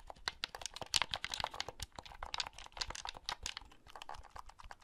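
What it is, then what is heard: Plastic handheld game console. Fingertips click the buttons and handle the shell of a small, hollow blue plastic handheld game console held close. A rapid, uneven stream of short, dry, bright clicks and light tapping is heard, with very little low end. Each click stops almost instantly with no ring.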